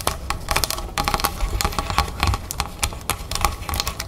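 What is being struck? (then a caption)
Plastic soda bottle filled with sparkling water. Long red fingernails of both hands tap rapidly on the label and upper plastic of a large, clear plastic club soda bottle full of sparkling water standing on a table. The result is a steady stream of quick, dry, bright clicks, each decaying almost instantly, over a constant low rumble.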